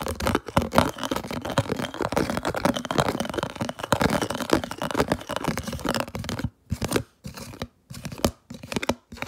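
A thin, hollow, translucent red round plastic food storage lid is held close and scratched quickly with long nails and fingertips. It makes a dense, crackling, tearing scratch that runs almost nonstop for about six and a half seconds. It then breaks into short, separate bursts of scratching with brief silences between them.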